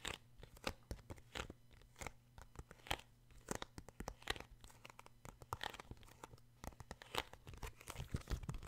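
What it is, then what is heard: Paperback book cover. Fingertips tap and scratch the glossy card front cover of a paperback book. Quick, dry, papery taps mix with bright scratchy strokes that stop almost instantly, all at a quiet level over a faint steady low hum.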